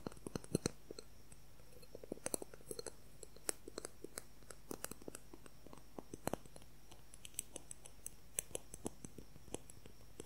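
A transparent plastic ruler is tapped rapidly with fingernails, giving dozens of quick, sharp, dry clicks that die away almost instantly. The clicks come in uneven bursts over a quiet, low background hum.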